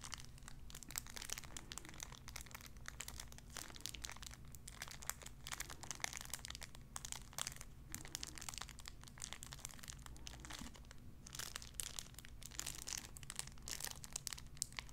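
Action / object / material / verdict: scrape / cellophane wrapper / cellophane / none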